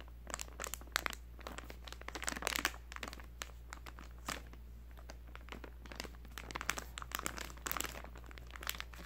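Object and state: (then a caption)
Soft plastic wipes pouch, crinkled. A full, small soft plastic pouch of baby wipes with a plastic flip lid is held in both hands, squeezed and handled with fingertips. It gives quiet, irregular bursts of bright crinkling and crunching over a steady low hum.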